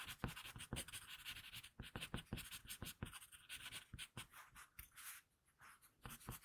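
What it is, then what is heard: Pencil scratching on paper. An HB wooden pencil held in the hand sketches and scratches graphite lines across a flat sheet of drawing paper on a table. Quiet, irregular bursts of dry, bright scratching come in quick short strokes, with brief pauses between some lines.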